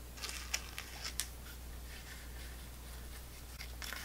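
A small, full, clear plastic apple sauce cup held in the hand is tapped and scratched on its side and rim with long nails. Seven crisp, bright plastic clicks and ticks come out over a faint scratching rustle and a steady low hum.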